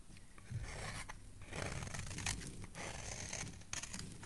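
A utility knife blade scrapes long shavings from the edge of a solid, hand-sized orange oval soap bar held in the hand. Soft, continuous rasping scrapes come in overlapping strokes, bright and papery on top with a dull low undertone.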